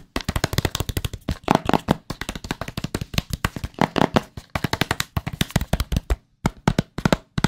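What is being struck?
Small cardboard product box.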